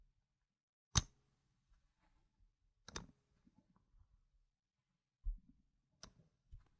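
Fingers with long nails place solid round plastic gem tokens with yellow and green rims onto a stack resting on a fabric mat, then straighten it. Sharp, bright plastic-on-plastic clicks sound with quiet pauses between them, followed by softer low taps and rustles as the chips settle.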